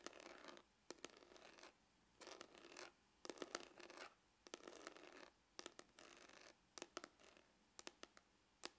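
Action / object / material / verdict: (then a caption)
scrape / faux leather hard glasses case / faux leather / none. Glitter-polished fingernails scratch the lid of a dark, textured, hollow faux-leather hard glasses case. Short bursts of soft, dry scratching alternate with sharp, bright clicks and taps, separated by brief silences. The sound is quiet, close and crisp, with almost no low end and no ringing.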